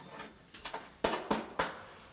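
Six knocks on a wooden baseboard, tapped during a flat appraisal, give short, hollow, mid-pitched thuds centered near 900 Hz that die away quickly. The baseboard sounds hollow, meaning it is rotten, with worm damage or mould behind it, so the wall is damp.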